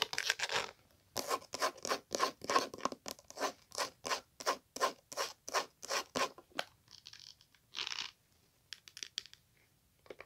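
Long pink nails scratch rapidly back and forth across a small hollow glasses case with a beige map-print coated canvas or faux-leather cover. The result is a run of dry, bright, rasping strokes with almost no ring. The strokes thin out into softer, scattered scrapes and short pauses near the end.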